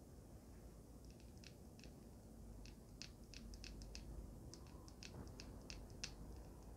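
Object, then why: Small resin and metal vape device. A small handheld resin and metal vape mod with a solid resin body and black mouthpiece, held upright, is tapped and scratched with long pink nails. Quiet, irregular, sharp bright clicks with almost no ring sit over a steady low background rumble.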